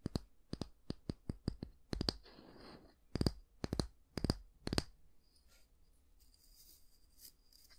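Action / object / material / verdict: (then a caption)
tap / wooden back of a bristle hair brush / wood / none. Fingernails tap and scratch the solid wooden back of a small oval wooden bristle hair brush. Seventeen short, dry taps come in quick runs, with a soft, hissy scratch on the wood partway through. The clip ends with faint, quiet scratching.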